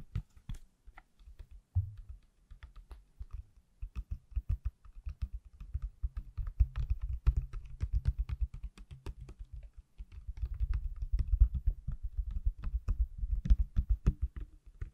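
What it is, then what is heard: Empty plastic phone case. A small, thin, pale hard plastic iPhone case, held up empty with no phone inside, is tapped on its hollow shell with fingertips and nails. The result is a steady stream of quick, soft, low tapping thuds with faint clicky edges, each dying away almost instantly, growing denser and busier toward the end.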